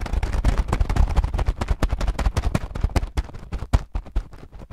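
A clear plastic bag full of small green translucent acrylic gems is pressed with fingertips, then squeezed in the hand. A dense run of quick, sharp crackles and clicks follows, with strong low-end thumps under the rustling plastic. The sound thins toward the end into scattered clicks.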